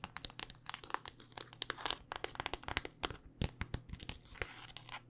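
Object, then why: Smartphone in a hard plastic case. Long, dark-painted nails tap rapidly on a handheld smartphone in a solid black rugged hard-plastic case, making about thirty quick, sharp clicks. The dry, bright ticks stop almost instantly, with faint scratchy rustling between them over a low, steady hum.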